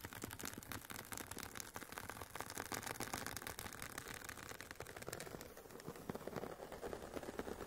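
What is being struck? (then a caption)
Semi-rigid headphone case with woven nylon cover. Long painted nails scratch the woven nylon fabric on the top and sides of an oval, hollow, semi-rigid hard carry case for Sony WH-1000XM4 headphones. It makes a dense, continuous stream of quick, crisp scratching ticks with a bright, rasping texture. The scratching stays steady and fairly quiet throughout.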